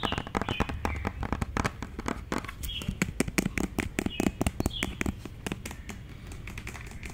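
Long nails tap rapidly on a hollow white plastic cosmetic tube or bottle with a green cap, some taps close to the microphone. The result is a dense run of sharp, dry clicks with very short ring, over a low, steady background.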